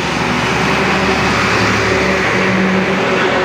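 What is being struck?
Nothing is struck.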